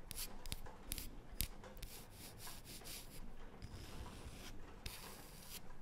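A small, flat, round, light wooden disc, solid and held in both hands, is turned while long painted nails rub and scratch across its surface. Soft, continuous dry scraping runs under bright, brief scratch bursts with a low rumble beneath.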